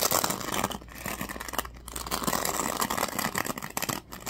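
Fingers rub and scratch the teal-tipped bristles of a black plastic oval hairbrush held in hand. The result is a dense, bright, crackly scratching with little low end, running almost continuously and dipping briefly near 0.8, 1.7 and 4.1 seconds.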